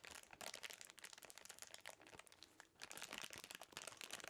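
Black-gloved fingers crinkle and scrunch an empty small clear plastic snack wrapper with a blue label. The result is a dense, bright stream of sharp crackles that dip into a brief quieter lull partway through before the crinkling picks up again.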